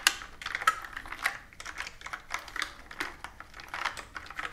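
Long-nailed fingertips type continuously on a pastel plastic mechanical keyboard with round keycaps resting on a wooden table. Quick, uneven clicks and clacks with bright, short taps and almost no low end, a few louder strikes standing out among softer keystrokes.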